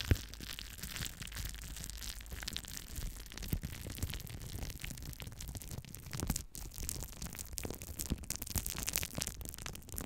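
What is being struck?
Crumpled plastic cling film.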